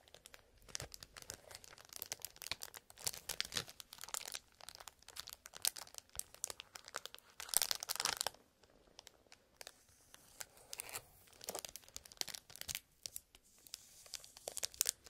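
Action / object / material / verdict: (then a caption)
scrape / cardboard box sealed in clear plastic film / plastic film / none. A small printed cardboard toy box (Marble Cube) sealed in clear plastic film is held in both hands while fingertips scratch, squeeze and crinkle the wrapping. The result is a dense run of quiet, bright crackles and rustles with no low end, swelling into louder bursts of crinkling around the middle and near the end.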